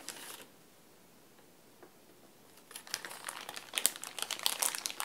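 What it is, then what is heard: Plastic bag crinkling. Fingers crinkle and crumple a small clear plastic bag holding chess pieces, held in both hands. A short bright crinkle opens the clip, followed by a near-silent pause with a few faint ticks. Dense, irregular, high crackling then builds and continues to the end.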